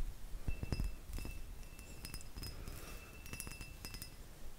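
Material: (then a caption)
Crystal glass. A hollow, empty cut crystal glass vase with faceted sides is tapped with fingertips and nails. The result is a series of irregular light clinks and taps, each with a short, bright glassy ring over a low background rumble.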